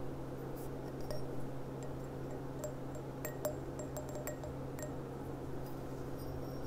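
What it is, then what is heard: Glass goblet tapped with nails. Long dark-painted nails tap and click on the bowl of a clear, thin, empty, hollow stemmed wine goblet with a gold rim, lying on its side on a cloth-covered table. Soft, scattered clinks give off brief bright rings over a steady low hum.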